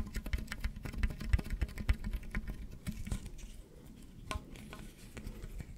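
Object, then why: Ribbed plastic tube. Fingers scratch and rub the ribs of a long, hollow, pink corrugated plastic tube that is held up and then coiled beside the microphone. Rapid, irregular soft clicks and ticks patter over a dull, low-heavy rumble, thinning into quieter scattered scratches in the second half with a few sharper bright clicks.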